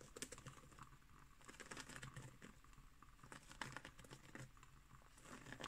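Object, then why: Woven straw placemat. Long nails scratch along the weave of a round, coiled woven straw placemat lying flat on a wooden table. The result is a quiet, dry, crackly scratching with uneven bursts of rasping texture.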